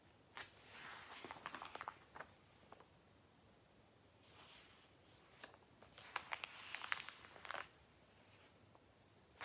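Fingertips lift, rub and flip the thin pages of a thick, glossy paper Argos catalogue lying open on a lap on a blanket. Quiet, bright, papery rustles swell and fade in bursts, broken by crisp, sharp flicks and crackles as the pages turn. The busiest stretch of flipping comes near the end, with very little low end throughout.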